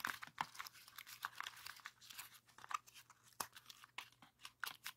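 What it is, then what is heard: Folded paper pop-it being pressed. A rainbow heart origami pop-it made of folded colored paper is held in both hands while thumbs press its hollow red and orange paper bubbles. The paper gives a quick run of dry, bright pops, crinkles and tearing-like crunches, each short and snapping off almost instantly.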